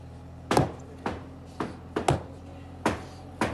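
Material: Concrete.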